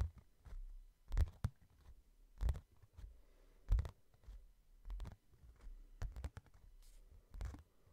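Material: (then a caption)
Cardboard. A hardcover book is held in one hand while the thumb and fingertips tap on its cover. The taps land as quiet, dull, low thumps at an uneven pace, each dying away almost at once, with soft rubbing in between.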